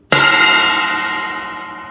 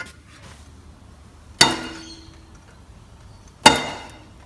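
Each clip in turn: First: untreated cymbal ringing freely. Second: cymbal damped by sound-deadening mat.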